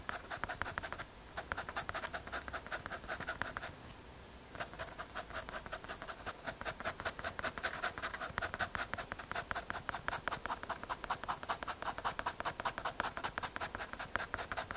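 A pencil tip scratches dense hatching across the surface of a small, solid, square brown MDF or hardboard panel held in the fingers. Quick, dry scratching strokes repeat in a steady rhythm, with a bright papery rasp centred around 1.4 kHz. Brief pauses near the first and fourth seconds interrupt the stroking before it resumes.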